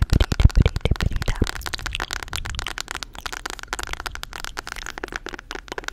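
Long acrylic nails tap and scratch the cardboard and paper cover of a solid mint-green hardcover spiral planner held in one hand. Heavy, thumpy taps in the first second and a half give way to a fast, irregular stream of lighter clicking taps and scratchy brushes with crisp, bright edges.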